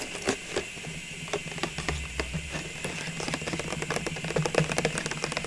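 Long nails tap and scratch the sides of a clear plastic cylinder packed with small ornaments and bearing a red paper label. The result is a run of quick, dry clicks and scratchy brushing over a faint steady low hum and bright hiss, with the taps growing busier toward the end.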